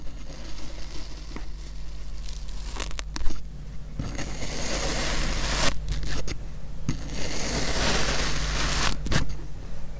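A black speckled metal knife with a clip-on mic attached slices curved cuts across a small, solid purple kinetic sand half-dome with holes in it, scraping through the sand. Long, gritty, hissing scrapes swell and fade in bursts, with a few sharp clicks near the start. A steady low hum runs underneath throughout.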